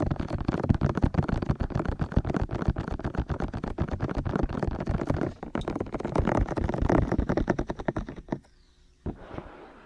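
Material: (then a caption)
Silicone. Fingertips from both hands tap rhythmically on the white, hollow, ear-shaped silicone ears of a black 3Dio binaural microphone on a tripod. The result is a fast run of dull, low, thudding knocks that breaks briefly, resumes, and then stops, with one last isolated tap before quiet.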